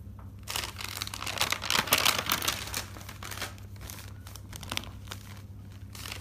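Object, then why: Thick paper notebook. Fingertips with dark-painted nails lift and flip single pages of a thick paper notebook, a large stack of white sheets bound together and lying on a table. Bright, dry paper rustling and fluttering crinkles swell to their loudest around the middle, then settle into softer page turns over a faint low hum.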